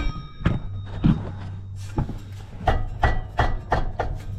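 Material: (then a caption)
Steel. A metal drive shaft slip joint on a Volkswagen Thing is knocked eight times, each tap giving a short, dull metal-on-metal clunk over a steady low hum. The clunks come from play in the loose slip joint knocking back and forth, which is the source of the drive shaft rattle; grease is planned as the fix.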